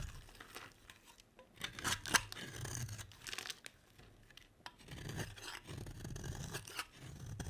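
A utility knife blade carves and scrapes shavings off the edge of a solid, green, oval bar of dry soap held in the hand. Crisp, bright scraping and tearing strokes come in uneven bursts, with short quiet gaps between them.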